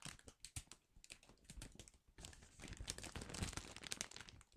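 A large, flexible printed plastic Chipsticks multipack bag, filled with smaller packets, is held in both hands above a cash register and crinkled and rubbed with the fingers. Sharp, bright crinkles and crackles come in quick bursts, then after about two seconds build into a denser, louder rustle. The bag is lifted up at the end.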